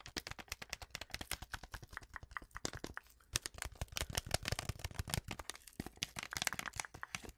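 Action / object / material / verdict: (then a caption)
tap / foil-lined paper tea sachet / foil paper / none. A small, flat, sealed Twinings tea sachet, foil-lined paper and full with its tea bag, is tapped, scratched and crinkled with long acrylic nails. Fast, dry clicking taps run continuously with bright crinkly texture, pausing briefly around the three-second mark before resuming.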